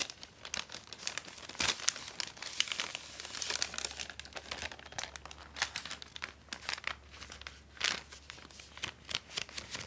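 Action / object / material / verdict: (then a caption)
scrape / thin paper treat bag / paper / none. A small, flat, empty pink-and-white striped paper gift bag is held in both hands while fingertips and long painted nails open, flex and crinkle the thin paper. The result is a dense run of bright, crisp crinkles and rustles with sharp little crackling peaks and almost no low end.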